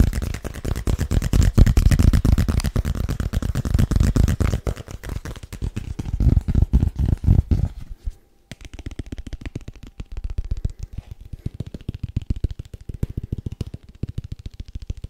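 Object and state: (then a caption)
Paperboard box tapped with fingertips. A small, hollow, rigid white paperboard box is tapped rapidly with the fingertips, held both upright and flat, producing a fast stream of deep, hollow, dull thuds at about four per second. The first half is louder and fuller; after a brief pause near the middle, the tapping continues quieter and thinner.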